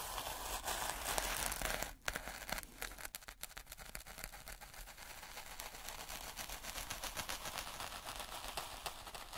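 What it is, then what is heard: Fine black sand scraped with sticks. Gloved hands jab and scrape two wooden sticks into fine, speckled black sand or grit in a white plastic tray. A dense, steady run of gritty crackling, crunching and scraping fills the clip, with bright, hissy texture and a brief hush near the two-second mark.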